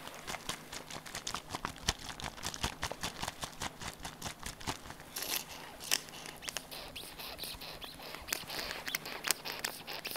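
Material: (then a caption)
Plastic. A small, hollow pink plastic bottle with a pointed cap is handled, tapped and shaken with the fingers, giving a quiet, rapid run of sharp, bright clicks and taps that die away almost instantly. Around the middle, denser rattling and rustling fill the gaps, with occasional louder taps standing out near the end.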